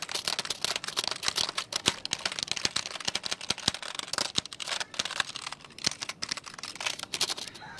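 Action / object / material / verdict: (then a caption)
tap / plastic computer keyboard / plastic / none. Fingertips type on and tap the keys of a black plastic computer keyboard held at the shoulder. A rapid, uneven stream of short, bright plastic clicks and taps comes through, each dying away almost at once, with very little low end.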